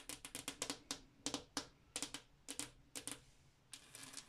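A glass mirror is tapped with the fingernails in irregular bursts of quick taps. Around nineteen sharp, bright clicks sound, each dying away almost at once with a faint ring near 280 Hz, separated by brief pauses.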